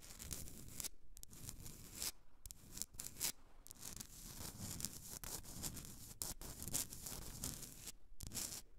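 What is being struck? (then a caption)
Rock-salt block candle holder. Long nails scratch and tap across the rough crystalline surface of a Himalayan salt candle holder, a solid, hand-sized block of pink rock salt. The sound is a dense, gritty rasp with a bright, tearing-like hiss and a low rumble underneath. It is broken by brief silent pauses between strokes, and each scrape stops quickly without ringing.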